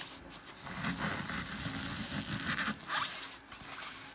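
A crushed, glitter-covered block of solid, porous green floral foam is rotated in the hands while fingertips crush and dig into it. This gives a continuous crunchy, crackling rasp, like a zipper, with bright scratchy texture and brief louder bursts.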